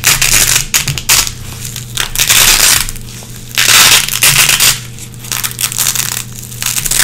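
Long red-painted fingernails pick and scratch at a small, flat, gray nylon hook-and-loop (velcro) strip held in the hands, pulling lint from the hooks. Bursts of bright, dense rasping scratches alternate with quieter pauses, over a faint steady low hum.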